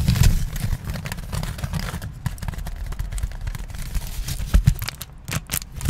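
A small crumpled piece of aluminium foil is held in both hands, crinkled and rubbed with the fingertips. The result is a steady stream of dry crackles over a heavy low rumble. It is loudest at the start, with stronger bursts toward the middle and end.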